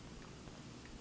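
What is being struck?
Nothing is struck.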